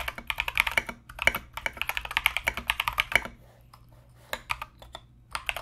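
A compact mechanical keyboard with Mozano EVE switches and Knight King plastic SA keycaps is typed on continuously with the fingertips of both hands. Bright, crisp clacks come in quick bursts with a strong tone around 2.3 kHz and very short decay, followed by a pause near four seconds before the typing resumes.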